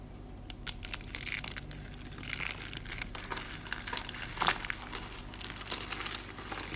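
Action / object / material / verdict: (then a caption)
scrape / dry soap curls / soap / none. Four rolled curls of green dry soap held in the palm are crushed by the fingertips into brittle flakes, which are sifted and dropped onto the countertop. A steady, bright crackling crunch runs throughout, with dense small snaps and a louder crackle burst near the middle, and little low end.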